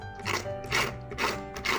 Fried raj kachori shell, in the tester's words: आवाज से पता चल रहा होगा कि कितनी क्रिस्पी बनी है